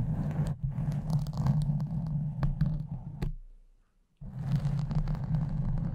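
Long nails of both hands scratch and rub a soft, porous pink foam cover on a silver microphone, producing a dense, muffled, low rumbling scrape with scattered sharp ticks. The rubbing fades to near silence for under a second, then resumes just as thick and steady.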